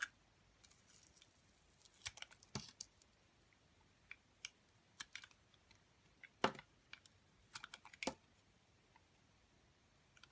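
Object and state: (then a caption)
Glycerin soap being carved. A metal box-cutter blade slices curls off a solid amber, translucent gold glitter glycerin soap held in a hand with long dark nails. Short, crisp, bright clicks and scrapes come in scattered bursts over quiet background hiss, each dying away almost instantly as thin curls are shaved from the bar.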